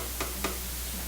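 Two knocks on a table, likely wood, to show a disturbance sending a wave through the table and the air. Each knock is a short, dull tap, heard over a steady low hum and faint hiss.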